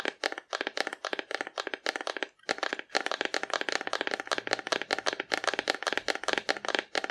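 A hollow, painted cardboard dinosaur figure held horizontally is tapped rapidly with long nails, giving a steady run of quick, dry, hollow clicks with a papery crackle. Each tap dies almost instantly, and the sound is mostly midrange and bright with no low-end body, with a couple of brief pauses in the rhythm.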